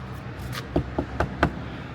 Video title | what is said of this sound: What Is This Place?! Exploring Pak Chong | But when you tap them, they’re hollow. They’re not real rocks.